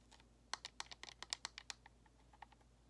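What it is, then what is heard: Plastic game controller tapped with nails. Long nails tap rapidly on the face and thumbsticks of a white hollow plastic Xbox controller. Ten crisp, bright clicky taps come in a quick run, each dying away almost at once with little low end. A few fainter taps trail off into a quiet background.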